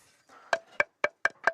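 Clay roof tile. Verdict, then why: Sound. Old clay roof tiles are tapped by hand, five sharp knocks, while being sorted to find damaged ones. Each tap gives a short, clear ringing tone around 1.6 kHz with bright overtones that dies away quickly, marking a sound tile that rings well, as a good tile must; cracked tiles are discarded.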